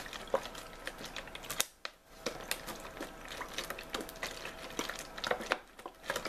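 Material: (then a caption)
Plastic. A hollow clear plastic (PET) drinking bottle with a blue-and-white label, possibly holding a little water, is held in both hands and crinkled with fingertips and nails. Dense, bright crackles and sharp ticking clicks run throughout with very little low end. The crinkling pauses briefly twice, near 2 seconds and again near 5.7 seconds.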